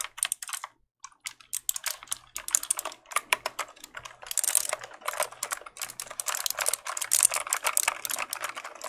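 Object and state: Plastic mechanical keyboard.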